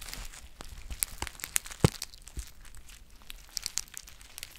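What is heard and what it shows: A green foil tea pouch with a paper label is crinkled and scratched with long painted nails. Quiet, scattered crackles and sharp ticks with bright, brittle highs come over a low rumble. The loudest snap lands near the middle of the clip.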